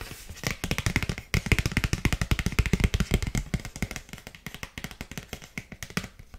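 Long nails tap and scratch quickly and unevenly across a dark polka-dot paper gift bag with a ribbon. The result is a rapid run of short, dry, papery clicks and rustles with a dull low thump under them. The sound pauses briefly near 1.3 seconds, then continues and gradually softens toward the end.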